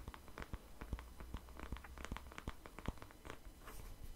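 A hand-sized black plastic paddle hairbrush with a hollow-looking back and bristles is held in the hand and tapped and scratched with fingertips and nails beside the microphone. Quiet, dry, irregular taps with a soft low thump mix with light scratching and die away at once, over a steady low hum.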